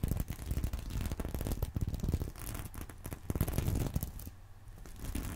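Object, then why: Sequin-covered fabric purse. A fingernail scratches across the sequins of a small reversible sequin fabric purse resting on a pillow. It makes a dense run of quick, dry scratching and crackling ticks with a soft, low-heavy rasp. The sound briefly thins out near the end before picking up again.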